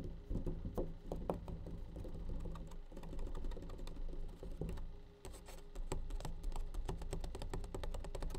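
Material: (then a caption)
Plastic. A plastic bleach tray is tapped with rapid, light taps. Short, bright clicks ride over a steady low hum, with a brief lull around the five-second mark before the tapping picks up again.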